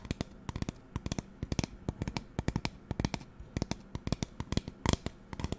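Fingernails tap quickly on the body of a hollow pink plastic spray bottle with a white trigger head. Some thirty short, dry clicks come in an uneven, rapid patter, each dying away almost instantly.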